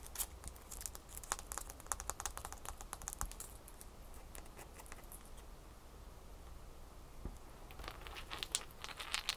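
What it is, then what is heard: Ice cube. A single small, solid ice cube held in the fingers is tapped and scratched with long fingernails. Quick, bright clicks and dry scratching patter over a steady low hum. The activity is busiest at the start, thins out in the middle, and picks up again near the end.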